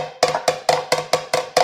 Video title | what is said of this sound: Tank Bangers Episode 19 | more of a hollow sound as opposed to when you hit it with something backing it up.